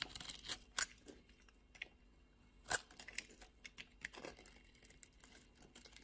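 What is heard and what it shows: A utility knife blade shaves and carves a solid beige bar of soap held in the palm, and crumbly flakes fall away. Quiet, irregular, crisp scraping and crunching cuts come with bright, papery texture. A few sharper, louder slices stand out among softer flaking scrapes.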